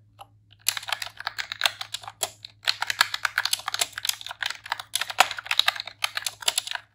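A pink retro-style plastic computer keyboard with round keycaps is typed on rapidly with long press-on nails and fingertips. After a brief quiet start, it gives a continuous stream of sharp, bright clacks and clicks with almost no low end. Each keystroke dies away almost instantly.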